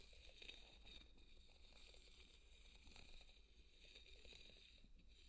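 A large white solid polystyrene foam ball is scraped and tapped with a small white plastic spoon. Quiet, continuous squeaky scratching and crinkling with high, bright hiss runs throughout, over a steady low rumble, with faint tapping accents scattered through the scrape.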